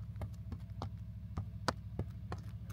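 Knuckles knock on a decor pillar at a western film set in the Tabernas desert, producing a series of short, dull, hollow-sounding taps with almost no ring over a steady low rumble. The pillar sounds completely hollow, a fake facade rather than solid construction.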